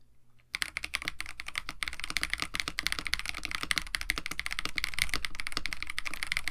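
Continuous two-handed fingertip typing on a KBD67 Lite, a compact 65% mechanical keyboard with a white case, blue and white PBT plastic keycaps, an FR4 plate and lubed Techno Violets switches. After a brief quiet start, rapid, uneven keystrokes produce short, dry clacks with a bright upper tone, over a steady low hum.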